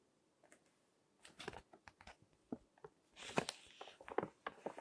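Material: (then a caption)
Glossy paper. Fingertips with long nails grip and turn the pages of a thick, wrinkled glossy paper fashion magazine lying flat on a table, crinkling and rubbing the paper. Soft, bright crinkles and short dry rustles come in irregular bursts, building to a denser, louder rustle as a page turns over, then settling into lighter crackles.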